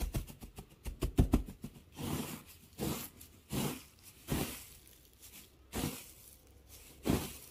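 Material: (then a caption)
Wood. Fingers dig, scratch and crunch through a loose pile of curly, pale wood shavings. A quick run of crisp, crackling rustles gives way to slower, separate scratchy bursts with brief pauses between them. Each burst is dry and short, with no ring.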